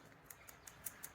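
An old PCV valve removed from a Mazda 2.0L Skyactiv engine is shaken, producing five faint, short, high-pitched clicks with very little rattle. It rattles much less than a new valve, suggesting the internal check valve is clogged or stuck.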